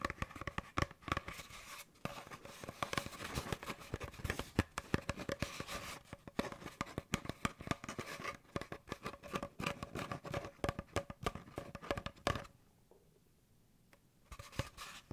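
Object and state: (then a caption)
Cardboard tube being scratched. An empty, hollow brown cardboard paper towel tube is held upright and rubbed and scratched with fingers and nails. Dense, rapid scratchy rustling and dry tapping crackle steadily over a low hollow body. The sound drops to near silence for about a second and a half near the end before the scratching resumes briefly.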